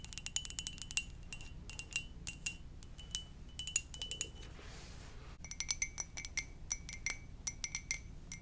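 Long nails tap rapidly on the glazed body of a hollow red and white ceramic mug shaped like a Poke Ball, making bright, short clinking ticks that ring at high, chime-like tones. After a brief pause just past the midpoint, the tapping resumes with a slightly lower ringing pitch, likely from a different spot on the mug.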